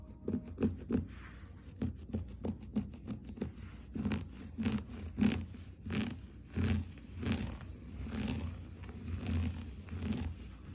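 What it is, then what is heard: Looped-pile textile rug. Fingernails scratch and scrape the looped pile of a blue and cream geometric floor rug, and a hand drags across its surface. A run of quick, dry scratches gives way to slower, longer rasping drags, muffled and low with a faint brighter hiss on each stroke.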